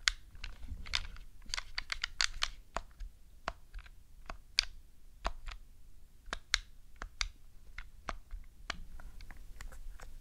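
Long decorated nails and fingertips tap and click the buttons of a black, hollow plastic Nintendo GameCube controller resting on a fluffy rug. The result is a quick, irregular series of short, dry, bright clicks and taps with almost no ring, over a soft low rumble.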